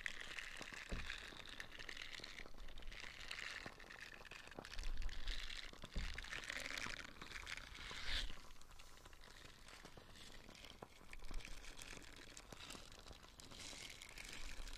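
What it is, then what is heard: Silicone dish scrubber, scratched and squeezed. A small, light-blue, nubby silicone dish scrubber, flexible and solid, is held in the hand and squeezed and scratched with fingertips and nails close to the microphone. A steady stream of dense, crinkly scratching and soft squishy crunches rises and falls over a low rumble, with brief louder swells throughout.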